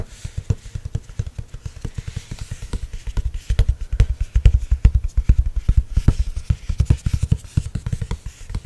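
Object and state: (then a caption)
Spiral notebook with stiff glossy card cover. Fingertips and nails tap and scratch the stiff, glossy, watercolor-printed card cover of a spiral-bound notebook. A rapid, irregular run of short, dull, low taps is heard, each dying away almost instantly with no ring.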